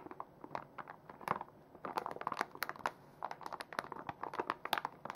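A full, hand-sized soft plastic foil pouch of makeup remover wipes is held in both hands and squeezed and crinkled with fingers and long nails. The result is a dense run of short, dry crackles and crinkles clustered in the midrange with bright edges. The crackles come in irregular bursts with brief quiet gaps.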